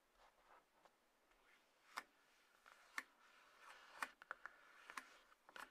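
Long nails tap and scratch the top of a small, closed, hollow white-grey cardboard iPhone box resting on a table. About 11 sharp, dry, irregular taps sit over a soft, quiet scratching rustle, with a crisp mid-to-high tone near 1.5 kHz and almost no ring.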